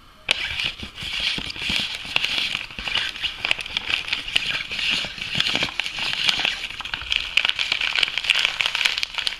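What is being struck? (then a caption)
Foil laminate coffee bag. An apparently empty, soft Lavazza espresso coffee bag made of foil laminate is crinkled and tapped with nails and fingertips. Dense, bright crinkling and crackling runs throughout, with quick, sharp taps that die away instantly and almost no low end.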